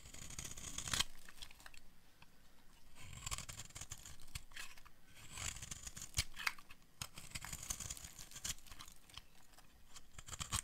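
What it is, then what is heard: Dry bar of soap being carved. A metal blade scrapes fine shavings off a solid, hand-sized, bright green bar of dry soap. The sound is a quiet run of dry, crisp scraping and crunching strokes with bright, hissy high end, plus a few sharper clicks. Each stroke stops almost at once, with no ring.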